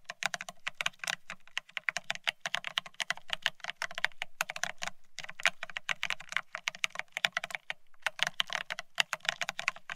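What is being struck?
Plastic split ergonomic keyboard.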